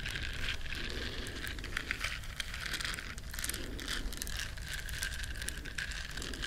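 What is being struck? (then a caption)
Silicone bristle scrubber scratched with fingernails. Long nails scratch the bristles of a small, flat, solid yellow silicone scrubber shaped like a duck. The result is a continuous, dense, crackling scratch with a steady bright tone around 1.8 kHz over a low rumble, lasting the full clip without clear pauses.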